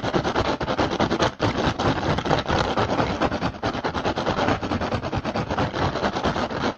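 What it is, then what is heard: Woven rattan basket. Fingertips of one hand tap and scratch fast on the hollow surface of a woven rattan basket. The result is a dense, continuous stream of dry, crackling taps and rough scratches with little ring, held at a steady level with brief dips before it trails off at the end.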